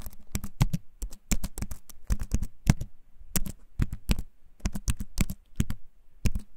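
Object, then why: Wooden keyboard keys. Fingertips type on a compact wooden keyboard held up close to the microphone, tapping the keys repeatedly. Short, dry taps come in an uneven, quick rhythm, each a deep, soft thud with a faint bright click that dies away almost instantly.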